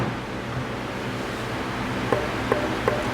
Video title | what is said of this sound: Ponce Guitars Part II- Picking Neck, Body, Pickups, TapTone Test, Best Wood Combos, the Big Reveal! | a little bit brighter than that but closer to these two